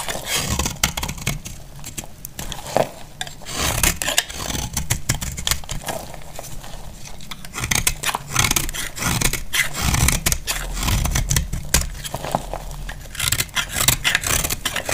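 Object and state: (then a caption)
Dry soap bar, knife scraped. A utility knife blade scrapes and cuts flakes from a solid cream-white dry soap bar held in the hand. Steady dry scraping with dense, crisp, bright crackles and short snaps runs throughout, over a low, muffled rumble.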